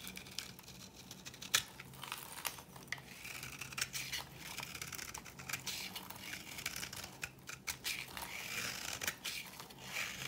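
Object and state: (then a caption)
Dry bar soap being cut into powder. A solid, dry cream-coloured bar soap held in the palm is scraped and cut with a metal blade into powdery shavings. Bright, crisp scraping and crumbling sounds come in a dense run of short strokes, with a low, steady hum underneath.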